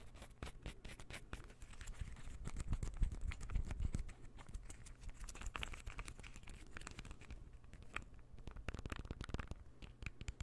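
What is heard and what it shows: A palm-sized light-wood puzzle ball is held near the microphone and scratched with fingernails. The result is a dense, irregular run of short, dry scratches and clicks that build in loudness around the middle of the clip, with a heavy low thump under the bright scratchy edges.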